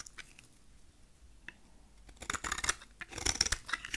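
A utility knife blade shaves the face of a solid rectangular dark purple dry soap bar held in hand. Faint, sparse scratches at first give way, after about two seconds, to louder, crisp, bright scraping and cutting bursts in an irregular rhythm, with little low end.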